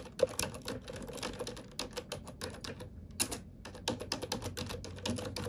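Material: Plastic.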